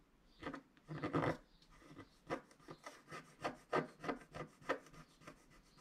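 A wooden stylus scratches repeatedly across a flat scratch-art card of black wax-coated paper while the other hand holds the sheet still. The result is a quick series of short, dry rasping strokes with bursts centered in the low mids, plus a longer rubbing stretch near the start. Each stroke dies away almost instantly.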